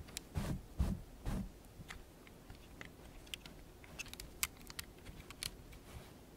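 Long painted nails click and tap on a small assembled plastic Lego brick model of a cactus in a terracotta-coloured pot, its hollow brick construction held and handled in both hands. It opens with a few dull, low thumps as the model is handled, followed by a scattered run of light, sharp, bright clicks that die away quickly.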